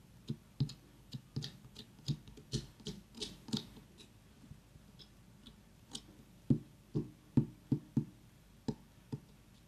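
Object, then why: Small whole pumpkin. Long nails tap and knock on the ribbed skin of a tiny whole orange pumpkin, which is briefly tilted. The result is a quiet, uneven series of short, dull, low knocks with soft clicky edges, each dying away almost at once, and a louder cluster of knocks near the end.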